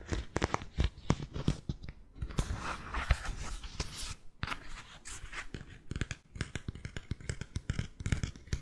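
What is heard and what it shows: Fingernails scratch and tap on a white three-strap sandal with a cork footbed, working over both the sole and the straps. Quick, dry taps with a deep thud and almost no ring alternate with stretches of rough, bright scratching.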